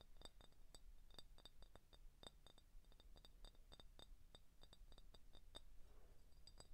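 An empty, hollow clear glass IBC cream soda bottle with a printed label is tapped and scratched with short painted fingernails on the neck and body. It produces a rapid run of sharp, bright glassy clicks with very short ring. Beneath them sits a faint, low, steady hum.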